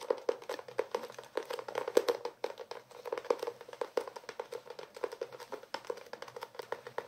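Fingertips tap and scratch across the cloth cover of a closed blue hardcover notebook held in the hands. The result is a quick, steady run of many short, dry, hollow taps, centered in the midrange around 480 Hz, with soft scratchy brushing between them. Each tap dies away almost instantly, with no low rumble.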